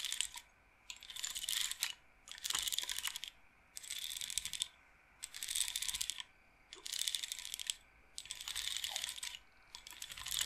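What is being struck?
Wooden bead roller massager.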